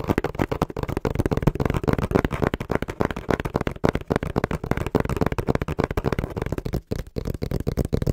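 A small, hollow brown corrugated cardboard box is held in both hands in front of a microphone and tapped quickly with the fingertips. This makes a steady stream of dull, hollow, low-pitched knocks that die away almost at once. The rhythm is fast and uneven, with little bright content.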